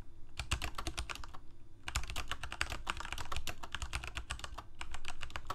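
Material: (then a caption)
Plastic. Fingertips of both hands type steadily on a Corsair K68 full-size mechanical keyboard with plastic keycaps, Cherry MX Red switches and a backlight, resting on a desk. Rapid, dense keystrokes give short, dry clacks with a deep thock underneath and bright tops. A brief lull near the two-second mark comes before the typing resumes more quickly and evenly.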